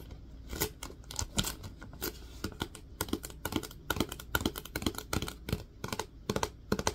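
Fingertips tap rapidly on the lid and body of a plastic Lysol disinfecting wipes canister as it is tilted in the hands. The result is a quick, uneven run of short, dry, clicky taps with bright tops that die away almost instantly, over a faint low hum.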